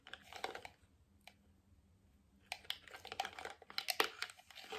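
A medium, hollow white plastic cream jar with a lid and label is tapped and scratched on its lid and sides with fingertips, nails and rings. Bursts of quick, bright clicks and crinkly scratching come in clusters, with a single tap in a quiet gap before a denser run of sharp taps resumes.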